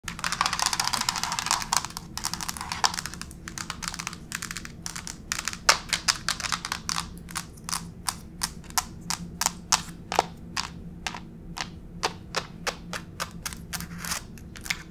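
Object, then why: Laminate plank floor tapped with acrylic nails. Long pink acrylic fake nails tap and scurry with both hands across a grey wood-grain laminate plank floor, a solid flat surface. The clip opens with dense, rapid scratchy scurrying, then shifts to sharp, dry clicking taps with almost no ring, spaced more widely toward the end. A faint steady hum sits underneath throughout.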